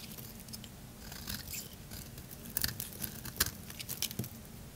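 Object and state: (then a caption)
Bar soap being shaved. A solid purple bar of soap is held in the hand while a blade shaves its surface into thin curls. Soft, crisp scraping strokes come at an uneven pace, each with a bright, dry edge and a faint low rumble underneath.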